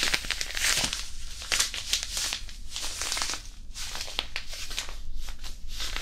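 A small, white, printed disposable hand warmer, a non-woven fabric pouch filled with iron powder, is held in both hands and crinkled and squeezed close to the mic. The result is a continuous, dense, bright crinkling and rustling, with sharp crackles and soft grainy shifts of the powder over a steady low rumble.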